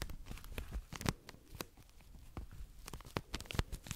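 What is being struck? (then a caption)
Cotton pads in thin plastic wrapper. A tall cylindrical pack of soft, compressible cotton pads in a thin plastic wrapper is held close and scratched and squeezed with long acrylic nails. The result is a quiet, continuous crinkling broken by sharp, dry tearing-like crackles and scratches, with a soft low body and bright, crisp edges.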